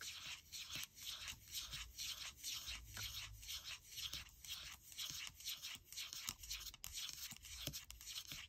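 Long nails scratch and rub repeatedly across the aluminium palm rest of a gold MacBook Air. The result is a quiet, bright, hissy scraping in a steady back-and-forth rhythm of about two strokes per second, each stroke dying away almost at once.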